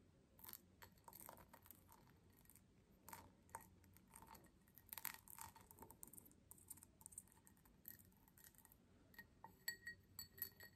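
Long nails tap and scratch the patterned base of a small, empty, faceted cut crystal tumbler held up in the hand. The result is a quiet, irregular run of bright clicks and scratchy rasps, with brief glassy pings near 1.9 kHz that die away almost at once.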